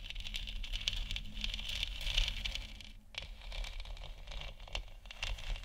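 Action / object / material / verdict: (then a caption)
scrape / hollow plastic moon lamp sphere / plastic / none. Long nails scratch and tap the top edge of a large, hollow, 3D-printed plastic moon lamp sphere lit white. A dense, crinkly patter of scratches and light taps carries a bright edge around 3 kHz over a low rumble. It briefly eases near the middle, then picks up again.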